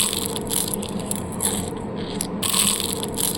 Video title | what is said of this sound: جلاش حلو🫔شكل اصابع ومثلث وحجاب🆕وكل ده بلفةجلاش واحدةبس✌️مقرمش ومورق😋وشكلةتحفة😎طعمةيجنن🤤فى10دقايق بس🤏 | مقرمش من بره وكمان طري من جوه وطعمه لذيذ جدا ومورق. اسمعوا كده صوت القرمشة